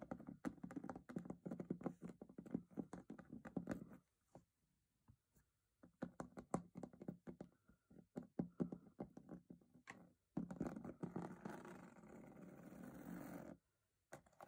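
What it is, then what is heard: Metal box. A metal box is tapped with rapid, short, dull knocks for about four seconds, then, after a brief pause, with another run of taps. This is followed by a steady, broadband scraping or brushing sound on the box for about three seconds before a last few taps.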